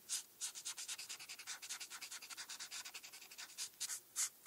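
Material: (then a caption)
Paper. A felt-tip marker is rubbed back and forth on a flat paper coloring page while coloring in a star. About 33 quick, soft, bright scratchy strokes follow one another in a steady rhythm, with almost no low end and no ring between strokes.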